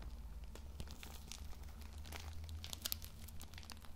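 Fingertips squeeze and rub a hand-sized, plastic-wrapped multipack of Lambi Cool Mint pocket tissue packs, soft and full of tissues, in thin plastic film. Quick, bright plastic crinkles and crackles, with a few sharper snaps near the end, sound over a steady low hum.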